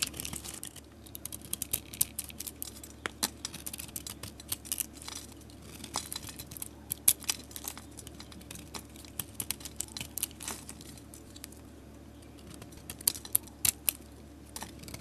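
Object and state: Soap bar being shaved.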